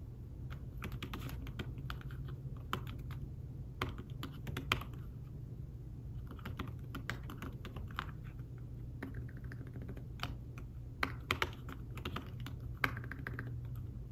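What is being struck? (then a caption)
Fabric-covered tablet keyboard. Fingertips with short nails type on a thin, flat iPad Smart Keyboard-style folio keyboard with dark woven fabric-covered keys. The result is a soft, continuous stream of muted, quick typing taps with occasional slightly louder clicks, over a steady low hum.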